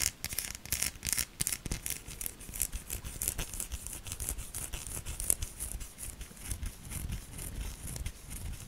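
Long nails scratch hard across a solid pink bar of soap with a ribbed, embossed surface, leaving soap shavings on it. Quick, dry scraping strokes come in steady bursts of bright, crackly hiss over a soft low rumble.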